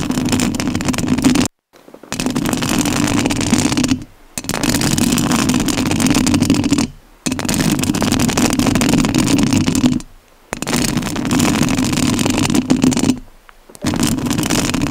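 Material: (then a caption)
Metal mesh. Long nails scratch the metal mesh grille of a rhinestone-covered studio microphone. Loud, dense rasping scratches with a strong low-mid buzz run in six long bursts, each separated by a brief near-silent pause.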